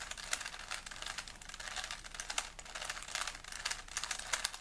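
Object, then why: Plastic puzzle cube. A small solid plastic 3x3 Rubik's cube is held in both hands while fingertips rapidly twist its layers. The result is a dense, continuous stream of quick, bright plastic clicks and rubbing with almost no low end, each click dying away almost instantly.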